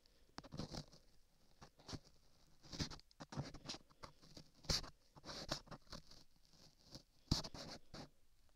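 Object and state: Clay-covered microphone ear being scraped.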